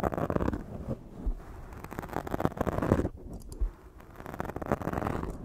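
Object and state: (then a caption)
Foam microphone windscreen being scratched. One hand grips and rubs a black foam microphone windscreen while long nails scratch across it. This makes dense, muffled scratching and rustling with a low, rumbling body, rising and falling in uneven bursts, with a brief quieter lull partway through.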